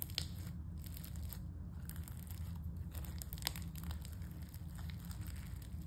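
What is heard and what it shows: A flat pale-yellow slime with glitter and small foam beads, resting on a dark stone-look table, is pressed, poked and crushed with fingertips, then folded and flattened with the palms. The soft, solid mass gives quiet, steady crunching and bright crackles as the beads and air pockets pop, over a dull low rumble.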